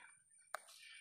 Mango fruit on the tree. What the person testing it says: bunyi dia dah bukan terik